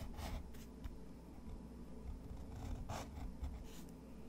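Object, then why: Pen nib on textured paper sheet. A fountain pen nib scratches drawing strokes across a sheet of thick, textured white watercolor paper resting on a wooden desk. Short, bright, papery scrapes come in bursts over a steady low rumble, with a quiet, close sound throughout.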